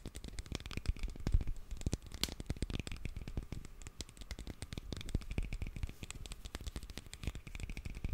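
A small black glass perfume bottle with a gold metal cap, solid-walled and hollow, is tapped and scratched with fingernails. Rapid, dense clicks and taps run steadily throughout, each dying away instantly with no ringing. The sound is mostly a low, dull thump, with faint bright ticks and scratchy grain on top.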